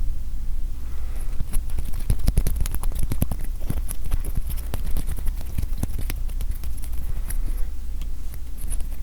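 A mini acrylic standee, a 1/3-inch-thick slab of UV-printed acrylic that is freshly unwrapped and feels well made, is tapped repeatedly. The result is a quick series of sharp, dry clicks with almost no ring, over a steady low hum.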